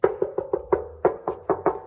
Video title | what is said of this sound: RESTAURATION e28 - Premiers efforts | ça sonne encore bien